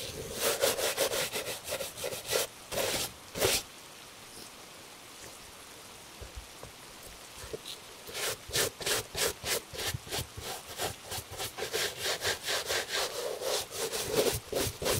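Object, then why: Leather shoe brushed with a bristle brush. A gloved hand brushes the upper of a tan leather dress shoe with a bristle brush, making quick, bright scratchy strokes in two bursts separated by a quiet pause of several seconds. The strokes have a slight tone near 535 Hz and no ring.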